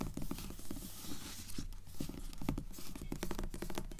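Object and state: Glossy paperback book cover, tapped and scratched.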